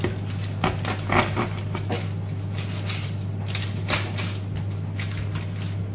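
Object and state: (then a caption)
Crispy bread crust. A knife slices through the crust of a freshly baked homemade loaf, meant to be a baguette and still warm, giving a run of sharp crackling crunches over a steady low hum. The crust is very crispy, thanks to a dish of water that made steam in the oven.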